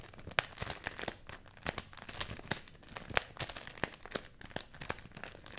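A folded sheet of white rice paper is held in both hands, crinkled and rubbed with the fingertips. Dense, irregular crinkling is heard, with sharp bright crackles over a soft rustle. The crackles stop dead with no ring after them.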